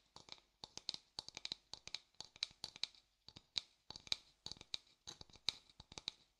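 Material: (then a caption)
Wood. An empty, light-coloured hollow wooden bowl is held up and tapped and scratched with a thin wooden stick and fingers. About thirty quick, dry, bright clicks and taps come in uneven clusters, with short scratchy brushes between them. Each hit dies away almost instantly, leaving no ring and almost no low end.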